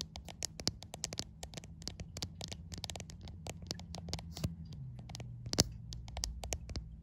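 Long white acrylic nails tap and scratch the front screen glass of a white iPhone around the selfie camera, with the phone held in both hands and seen in a mirror. The contact lands right at the recording camera and microphone, so a rapid series of sharp, bright clicks and short scrapes sounds up close. A low, steady hum runs underneath the whole time.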